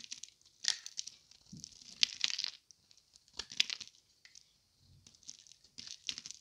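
A solid, dry green Palmolive bar soap is held in the hand and carved and scraped at its edge with a thin metal blade, sending shavings falling. Quiet, bright, crisp scraping and crackling come in irregular bursts separated by short silences, with almost no low-end body.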